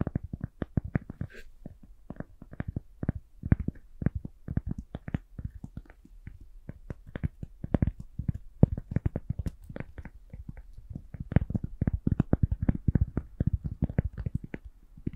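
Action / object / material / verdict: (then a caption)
tap / small round cork coaster / cork / none. Long pink nails scratch and tap a small, round, flat, solid cork coaster. The result is a steady stream of soft, dull, low taps with no ring, mixed with faint scratching, at an uneven, varying pace throughout.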